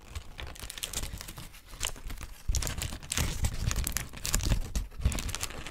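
A thin, white, wrinkled paper sheet is held in hands and smoothed and crinkled with fingertips. Dense, irregular crackles and rustles with bright, crisp snaps come in a steady, uneven flurry, growing louder and busier after the first half.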